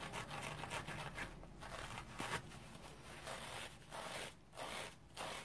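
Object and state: Metallic-fiber scrub sponge scratched dry.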